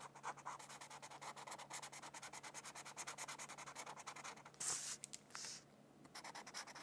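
A felt-tip marker, held in a hand with long purple nails, colors a thin printed mandala sheet of white paper lying on a textbook, rubbing and scratching across it. Quick, bright, papery strokes repeat in a steady rhythm over a faint low hum. Near the end, two louder, broader swipes break the pattern, followed by a brief quiet pause before the short strokes resume.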